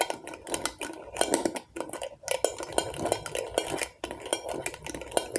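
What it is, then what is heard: Glass jar candle. Long acrylic nails tap and scratch the glass sides of a medium glass jar candle filled with solid wax, with a label and a metal lid. Quick, bright clicky taps mix with a gritty scratching hiss, each tap ringing only briefly with a faint tone around 500 Hz.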